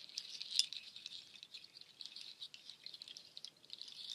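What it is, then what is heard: Nut shell shaker. A nut shell waterfall shaker, made of dark nut shells strung on a cord, is rubbed and clattered together by hand with long nails. It makes a quiet, dense rattle of high, bright clicks with no low end. The clicks patter continuously, with the loudest clack near the start.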